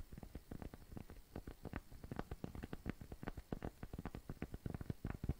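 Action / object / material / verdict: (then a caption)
tap / cork coaster / cork / none. A round, flat, tan cork coaster, thin and solid, is rapidly tapped and scratched with fingertips and nails. The result is a quick, uneven patter of soft, dull, low thuds with very short decay and light scratchy texture between them, staying quiet throughout.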